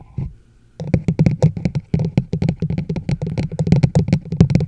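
Long nails tap quickly on the sides of a large hollow plastic chug mug, a teal-and-white travel mug with a black lid and handle, set over a microphone. After a brief quiet start, a fast, steady stream of short, dry clicks with a hollow low resonance follows, each tap dying away almost at once.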